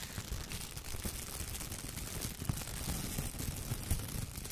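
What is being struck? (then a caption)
Thin plastic shower cap. A clear, thin plastic shower cap is bunched and rubbed between the fingertips, then held up by the edge and shaken. The result is a steady, quiet crinkle and rustle with soft low thumps and brief brighter crackles throughout.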